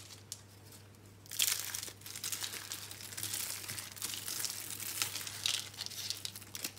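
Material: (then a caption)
Soap. Bare hands crush and rub small, hollow, dry green-and-pink recycled soap curls and crumbs. After a quiet first second, dense, bright crinkling and crunching runs through the rest of the clip. A steady low hum sits underneath.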